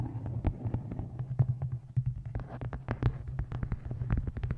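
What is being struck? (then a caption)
Hardcover book. Long nails tap quickly on the cover of a dark hardcover book with a photo inset, which rests on a microphone while hands hold it at the edges. The taps are short, dull clicks over a deep, boomy low thump and a steady low hum. They come in a fast, uneven stream.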